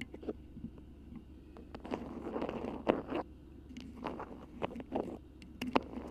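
Long pink nails grip, crinkle and scratch a cream printed beeswax-coated cotton food wrap that is wrapped over the microphone. Soft, irregular waxy crackles and scratchy rustles come and go over a faint low hum, with a few sharper, louder crunches standing out.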